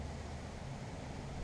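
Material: Nothing is struck.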